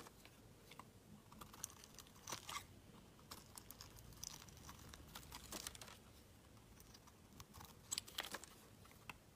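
A metal utility knife blade shaves long strips off a solid, palm-sized green bar of soap held in the hand. The result is a quiet, bright series of scraping, crackling and crinkling cuts with brief sharp peaks over a soft hiss.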